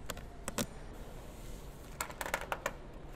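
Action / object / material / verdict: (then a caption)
tap / painted sheet-metal car trunk lid / painted steel / none. Long nails tap and scratch the painted sheet-metal rear trunk lid of a grey Mercedes-Benz S-Class Maybach, near the 4MATIC chrome emblem above the tail light. Eight short, bright clicking taps stand out, three early and five later, each dying away almost at once. A soft, hissy scratching fills the gaps between them.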